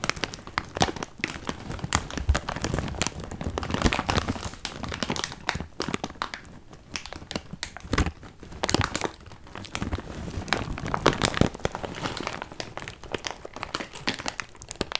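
A large clear plastic bag full of cardboard jigsaw puzzle pieces is squeezed and crinkled by hand, and the pieces shift around inside. The result is dense, bright crinkling with rustling shuffles of the pieces, coming in busy bursts with quieter stretches around the middle and near the end.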